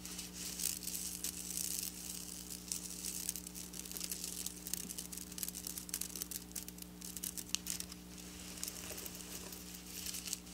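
Long black nails scratch and tap among flat silver sequin fabric lying on a table. The result is a dense, bright, crinkly rustle of quick clicks and scrapes over a steady low hum.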